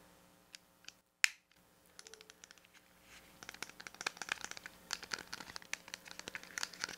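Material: Plastic.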